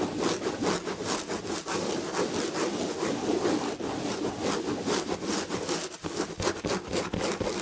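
Long red-painted nails of both hands scratch the damask chenille fabric on the back of an upholstered chair. The result is a steady, rapid, dry scratching and rustling with a rough, broad texture and a brief dip near the six-second mark.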